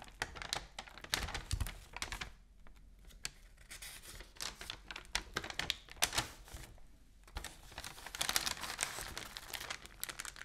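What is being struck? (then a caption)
Newsprint newspaper. Long nails tap and scratch across the flat pages of an open newsprint newspaper, giving dense bright, crisp clicks and papery scrapes. The sheets are flipped with crinkling rustles, with brief quieter pauses and a louder swell of rustling near the end.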